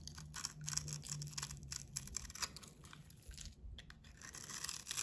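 A metal box-cutter blade scrapes the coating and soap off a hand-held solid soap bar with a blue painted coating and red heart decals, cutting it into shavings. The result is a quiet, dense run of bright, crisp scratching and rasping strokes, with a faint low steady hum under the first two seconds.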